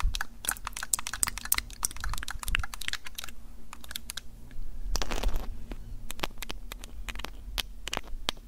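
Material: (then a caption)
Plastic. Long pink nails tap and scratch the top microphone area and sides of a Tascam DR-05X, a small hollow plastic handheld audio recorder with metal mic grilles. Quick, sharp, bright clicking taps come in an irregular stream over a steady low hum, with a louder, denser scratching rustle around the middle of the clip.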